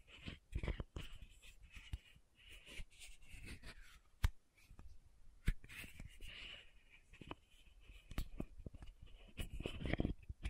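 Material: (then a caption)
Plastic, metal. Long nails tap and scratch the metallic cap top of a small pink plastic sunscreen bottle held upright. Quiet, close-up sharp clicky taps are scattered among soft, raspy scratching strokes with a thin midrange hiss. Each tap dies away almost instantly.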